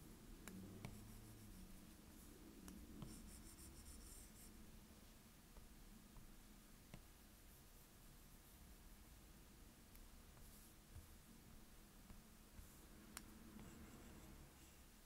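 A plastic stylus tip is dragged in strokes across the glass touchscreen of an iPad while the hand rests on the screen. It makes a soft, steady writing scratch with a low rubbing hum and occasional brief bright ticks. The sound stays quiet and even throughout.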